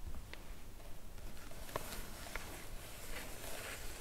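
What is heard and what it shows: Long acrylic nails tap and scratch across a flat, white, medium-sized padded paper mailer (featherpost) lying on a cloth surface. Soft, dry clicks and a faint papery scratching rise over a low, quiet rumble, with a few sharper taps standing out.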